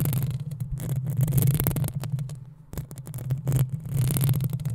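Long white acrylic nails scratch and tap the hollow metal mesh grille of a black desktop USB condenser microphone on a stand. A steady low hum around 100–200 Hz runs beneath rapid, crisp scratching and tapping clicks that flicker into bright, airy hiss, briefly dropping quieter midway before building again.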